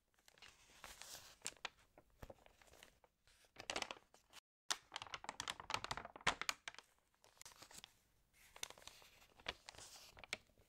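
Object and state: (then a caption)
Glossy paper magazine pages. Fingertips rub the thin pages of an open, water-damaged glossy-paper magazine and turn them, making quiet, bright crinkling and rustling. The paper sounds come in bursts of sharp crackles and soft swishes, separated by brief pauses.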